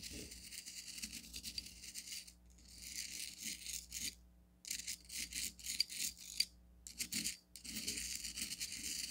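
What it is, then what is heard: Bath salt crystals stirred in a stone cup. A red chopstick pokes and stirs coarse blue bath salt crystals in a small striped onyx stone cup, giving a rattling, crunchy sound. The bright, gritty bursts come in stretches broken by brief pauses of near silence.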